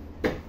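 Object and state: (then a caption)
Hard adobe soil. The dug ground of a septic tank excavation is struck once, producing a single sharp, knocking tick with a mid-pitched tone around 500 Hz that fades within about a tenth of a second. This sound shows the ground is really hard adobe rock; soft adobe does not sound like this.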